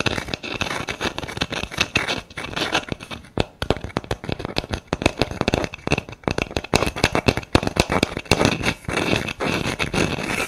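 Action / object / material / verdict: scrape / round wood slice coaster with bark edge / wood / none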